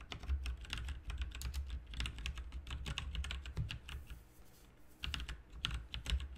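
Both hands type with their fingertips on a full-size RGB backlit mechanical computer keyboard with plastic keycaps, resting on a desk mat, with its lighting dimming toward the end. Rapid, bright key taps and clicks run over a steady low hum, easing into a softer, sparser stretch around the fourth second before picking up again.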